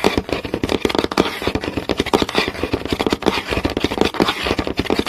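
Several fingernails tap fast on a flat, solid wooden board with visible grain. The result is a dense, continuous patter of sharp, dry clicks with a woody midrange tone and a bright, scratchy edge, each tap dying away almost instantly.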